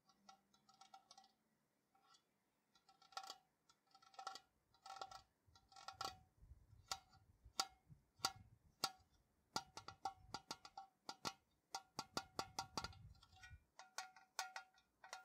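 A tall, hollow printed metal Ceylon tea tin, held in the hands, is tapped with fingertips and nails on its flat sides. The result is quiet, irregular bright metallic ticks and clicks, some in quick clusters, each with a short tinny ring around 770 Hz that dies away almost at once. A soft low rumble sits under the middle of the tapping.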